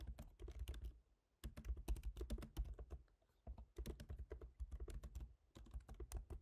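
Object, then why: Laptop keyboard with plastic keys in a metal body. Rapid fingertip typing from both hands on a MacBook Pro keyboard, black plastic keycaps set in a silver aluminum body. Bursts of quick, dry clicky taps are heard, mostly low thumpy energy with brief bright clicks. Short pauses fall between the bursts.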